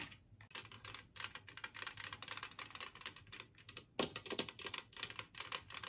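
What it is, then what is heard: Glazed ceramic plate. Long fingernails tap and scratch across the glazed surface and rim of a large, flat, green ceramic Christmas-tree-shaped plate, empty and resting on a wooden table. The result is a dense run of quick, bright clicks and raspy scrapes with very short ring. It has almost no low end, and the sound comes in busy bursts separated by brief pauses.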